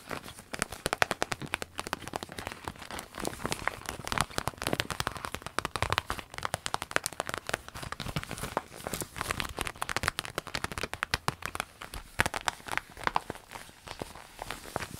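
Long nails scratch and crinkle the soft vinyl of a small, empty clear orange vinyl zip pencil case. Dense, rapid crackling and crinkling runs steadily through the whole clip, with bright, sharp ticks over a light body of sound.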